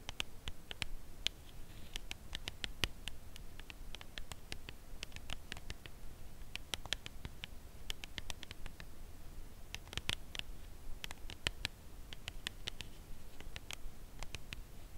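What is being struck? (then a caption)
Cardboard chocolate bar box. A dark brown Lindt Creation Caramel cardboard box holding a chocolate bar is held upright and tapped on its face with long acrylic nails. The result is a steady run of quiet, short, dry clicky taps with a bright edge, spaced irregularly over a faint low hum.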